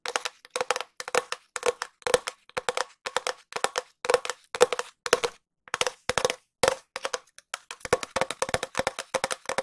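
A long, empty, hollow cardboard tube is tapped and scratched with long nails in quick clusters of sharp, dry clicks separated by short pauses. Each tap carries a brief hollow resonance around 490 Hz with a bright, papery scratch on top, and dies away almost instantly.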